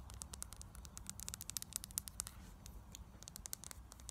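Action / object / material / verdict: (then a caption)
tap / small frosted glass bottle, partly filled / glass / none. A small square frosted glass foundation bottle with a gold cap, partly full of liquid, is held in the hand and tapped rapidly with long acrylic nails. The result is a quiet, steady stream of short, crisp, bright clicks that stop instantly with no ringing, over a faint low hum.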